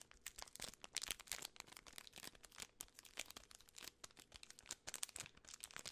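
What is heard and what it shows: A full, large Twix bar in a gold and red plastic film wrapper is handled, crinkled and possibly pulled at by fingertips and long nails. The result is a dense run of sharp, bright crackles and crinkles with almost no low end and no ringing after each snap.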